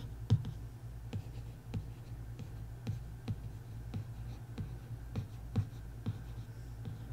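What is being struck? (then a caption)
Hardcover book cover board. A long nail traces and scratches across the cover of a bare printed hardcover book board. It makes a steady series of short, quiet scraping strokes with brief bright edges over a low, constant hum.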